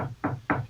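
Two taps on an unworn part of a craps table's playing surface, well away from the worn landing zone where most tosses hit. Each tap is a dull, low knock with a short resonant hum and little high content, fading quickly. The unworn surface gives a normal, solid response for comparison with the worn area.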